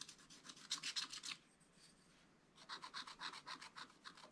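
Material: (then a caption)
Coated paper. A wooden stylus scratches short, quick fur lines into a flat, black, wax-coated scratch-art paper page, making bright, rasping strokes in a steady rhythm. A burst of strokes plays for over a second, then a quiet pause, then a second run of scratches.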